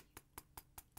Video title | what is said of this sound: Vernee Apollo X Review | even just if I type or tap the screen, you will hear this rattling all the time